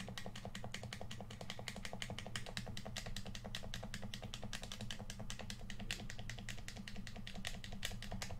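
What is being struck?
Plastic game controller.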